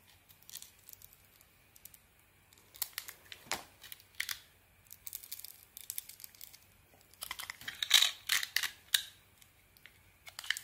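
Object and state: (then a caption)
Bar soap being carved. A small metal blade carves into a hand-sized, solid red beaded bar of soap with a white interior, scraping and shaving it. Irregular bursts of crisp, bright scraping and crackling cuts come one after another, with brief quiet gaps between them.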